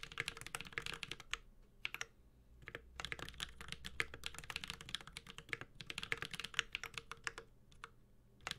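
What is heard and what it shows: Continuous typing with the fingertips of both hands on a 65% mechanical keyboard with a metal case and ABS plastic keycaps, a Space65 Cybervoyager with Holy Panda switches. Quick, bright clacks arrive in dense bursts separated by short pauses, each keystroke dying away almost instantly, with a faint low rumble beneath.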